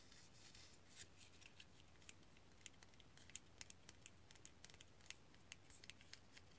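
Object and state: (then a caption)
Cinnamon stick. A small, solid, rolled stick of whole dried cinnamon bark is held over a mug while fingers and nails rub and scratch along its rough surface. Quiet, dry scratching comes through as a steady series of short, sharp, bright clicks over a faint low hum, each dying away almost instantly.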